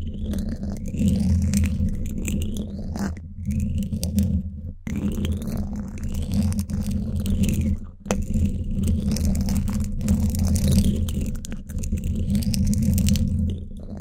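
Two thin wooden sticks, one in each hand, scrape the woven steel mesh grille of a black Blue Yeti microphone's hollow dome, sometimes fast and sometimes slow. The result is a continuous rough, scratchy rasp, heavy in the low end with a steady hum around 200 Hz and faint bright squeaky streaks above. Brief drop-outs occur around 3, 5 and 8 seconds before the scraping resumes.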